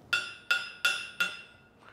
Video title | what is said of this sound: FAKE OR FORTUNE 9X01: HENRY MOORE | when you tapped it earlier, it sounded hollow. That sounds hollow, yeah. But clearly, judging by the X-ray, it is not.